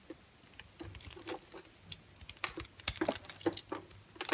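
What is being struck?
Bar of soap cut with a knife blade.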